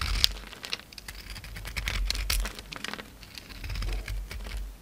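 A utility knife blade scrapes and cuts flaky chunks off a solid oval soap bar with a black glittery coating and a white core, held in the palm. The clip is full of quick, irregular dry crisp scratches and crinkly crumbling ticks with bright, high edges over a low rumble.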